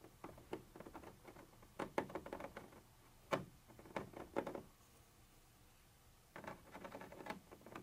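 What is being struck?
Textured plastic surface scratched with a metal pointer.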